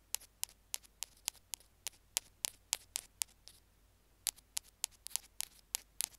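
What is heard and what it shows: Two bamboo ear picks scratch and tap the middle of a small white plastic Apple earphone mic remote resting on a stone slab. About 21 sharp, bright, very short clicks sound in a steady run, with a brief pause just before four seconds. The clicks carry almost no low end and sit over a faint low hum.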